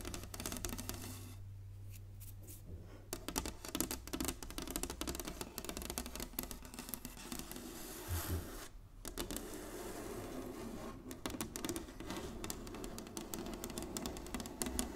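Long nails tap rapidly across the surface of a large, flat, inlaid wooden chessboard, making a dense run of short, dry clicks with bright, crisp edges. A steady low hum sits underneath, and the tapping thins briefly around 1.5 and 9 seconds before picking back up.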